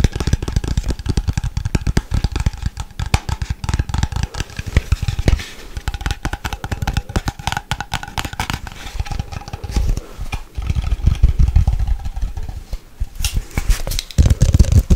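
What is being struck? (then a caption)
Glass jar with lid. A mid-size Nescafé Gold glass coffee jar with a gold lid and a plastic/paper label, lid on and held in hand, is tapped and scratched quickly with long white nails. A fast, dense stream of short, dry clicks and scrapes runs throughout, with a heavy low thump under the taps and brief bright scratching.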